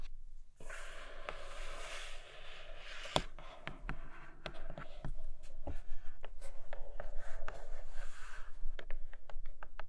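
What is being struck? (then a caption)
Cardboard box with clear plastic window. Long nails scratch and tap on a flat grey cardboard Nomad box with a clear plastic window over a red case. A soft, breathy scratching opens the clip, then gives way to irregular, dry clicking taps that stop short with almost no ring. The scratching continues faintly between the taps.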